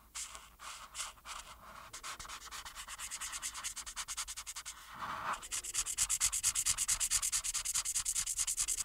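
A marker tip held in the hand rubs steadily back and forth over one small area of a thin printed paper coloring page resting on a flat, solid board. It makes fast, bright, scratchy strokes at a steady rhythm. The strokes briefly soften around the middle, then return louder and crisper.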